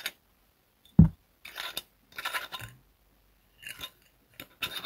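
A clear glass liquor bottle with a red label and red cap, apparently empty or nearly empty, is held on its side and tapped and rubbed near the neck and cap with fingertips and fingernails. One firm, low tap stands out, followed by short bursts of bright, scratchy rubbing and light tapping separated by silent pauses.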